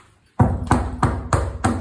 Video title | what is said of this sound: Salter point reno replacing doors and handles | You can hear that's a hollow door.